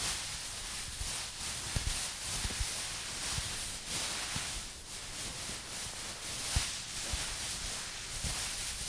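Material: Nothing is struck.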